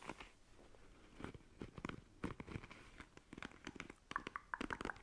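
Long nails quickly scratch and flick the bristles of a black plastic paddle hairbrush. It makes a rapid run of dry, crunchy crackles and flicks with no ring-out, and near the end some short bright plinks come through at about 1 kHz.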